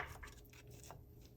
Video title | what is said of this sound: Steak & Guinness Pie! #meatpie #guiness #stout | you can hear how crispy and flaky that that pie crust is